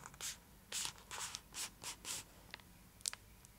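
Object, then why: Foil-lined plastic chocolate bar wrapper. Long acrylic nails scratch along the top edge of a full, large purple Cadbury Dairy Milk chocolate block held upright in its foil-lined plastic wrapper. A series of quick, bright, hissy scratching strokes is heard, followed by a few light clicks and ticks, all at a quiet level.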